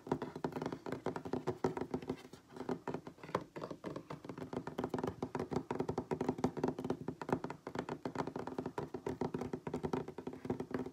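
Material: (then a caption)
Wood. Fingertips and nails of both hands tap quickly across a solid wooden tabletop, producing a fast, continuous patter of dry, short knocks. The taps carry a warm, woody tone centered low in the midrange, with little deep bass and almost no bright top. Each tap dies away almost instantly, with brief uneven pauses in the rhythm.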